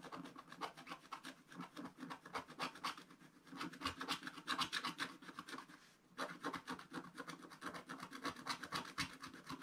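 A wooden stylus scratches the lower right of a black-coated scratch-art card page in a spiral book. Quick, dry rasping strokes repeat about four times a second with a bright, papery scrape. They stop briefly around the six-second mark, then carry on.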